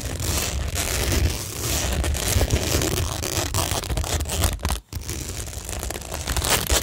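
Long nails scratch over a flat, solid framed cork tingle board covered in pink rhinestone mesh and pearl stickers. The result is a steady, dense, crackly scratching with a low rumble underneath and bright textured edges, pausing briefly near the five-second mark before continuing.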